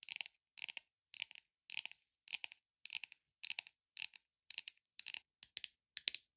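Long, glittery acrylic-style nails tap and scratch the sides and edges of a small, hollow, rigid red textured leatherette gift or jewelry box with gold pinstripes. The result is quiet, bright, dry clicking in short, rapid bursts of several taps each, separated by brief silences. There is no low end and no ring after each tap.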